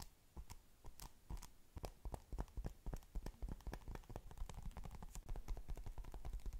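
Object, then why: Foam ball covered in polystyrene beads. A palm-sized ball covered in blue and yellow polystyrene foam beads is squeezed and scratched with long pink nails. The result is a rapid, steady stream of short, dry crackling and crunching clicks, with deep low thumps under the sharp ticks.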